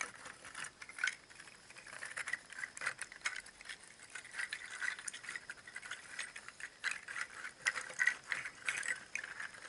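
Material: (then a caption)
Seed shell. A bundle of many hollow, empty, dried brown pangi seed shells, each palm-sized and tied together on twine, is gripped and jostled by fingers so the shells knock against each other. The result is a quiet, continuous dry rattle of short, sharp clicks and clacks concentrated in the upper mids with a bright edge and almost no low end.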